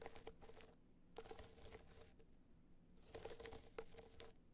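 Long nails scratch and tap a small, rigid, hollow gold hard-shell box clutch covered in metallic material with raised dots. Three bursts of dry, crinkly scratching and light taps carry a faint hollow ring near 450 Hz, with quiet pauses between them.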